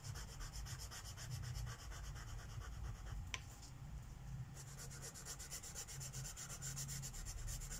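A purple Sharpie marker tip is rubbed rapidly back and forth across a flat paper page of a mandala coloring book lying on a wooden table, coloring in petals. The strokes make a fast, rhythmic, bright scratchy rasp over a steady low hum, with one sharp click midway and a brief lull before the rubbing resumes.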